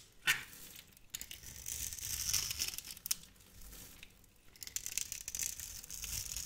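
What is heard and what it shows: A metal knife blade carves a cube grid into a hand-sized, solid, translucent yellow glycerin soap bar held in the hand and scrapes pieces off. The result is a bright, dry scratching and crinkling texture, with a sharp crisp cut near the start and another around three seconds, then steady quieter scraping.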